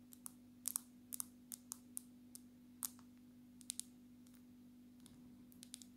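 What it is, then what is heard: Glass-backed smartphone. Long natural nails tap the glass surface of a black glass-backed smartphone held sideways near the face. About 17 sharp, bright clicks come in irregular bursts, each dying away almost instantly, over a steady low hum.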